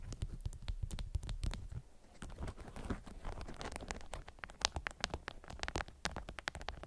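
Long acrylic nails scratch and tap a patterned beeswax-coated cotton wrap twisted around a small round object like a candy. The result is a dense run of quick, dry taps and scratchy crinkles with a soft, thumpy low end and bright clicky edges, pausing briefly near the two-second mark before continuing.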